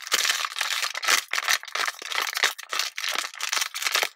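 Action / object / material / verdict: scrape / thin plastic water bottle / thin plastic / none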